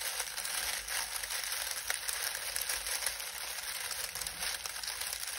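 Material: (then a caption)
Dried leaves. Both hands press and crumple a pile of dried lemon balm leaves with their fingertips. The result is a steady, crisp crackling and rustling that is bright and dry, with almost no low end.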